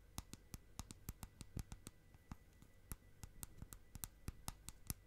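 Long nails tap rapidly on the lid and side of a small round clear plastic tub with a lid, filled with bubbly purple slime. About two dozen quick, dry, clicky taps are heard, each ending almost instantly, with a soft low thud under a bright tick, over a quiet steady hiss.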